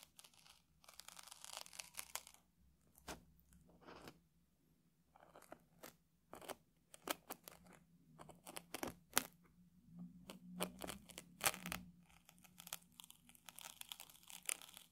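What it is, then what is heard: Puffed rice cake. A round puffed rice cake, held steady by one hand, is poked and scratched across its crunchy top with a small metal tool. Many short, dry, bright crunches and crackles come in irregular bursts, separated by quiet scratchy pauses.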